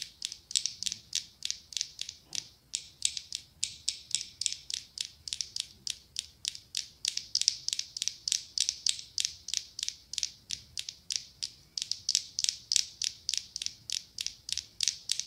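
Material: Glass.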